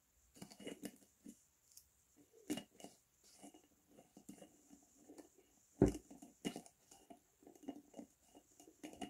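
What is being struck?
Glass jar with plastic screw lid.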